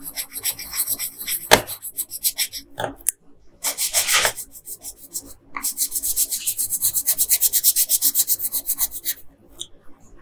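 A yellow wooden colored pencil, held in a hand with long pink nails, scratches and rubs its lead back and forth across a flat printed paper coloring page of Princess Peach lying on a dark table, filling in the hair. Bursts of quick, bright, raspy strokes come in rhythmic runs separated by short pauses, ending in a long, steady stretch of even back-and-forth shading.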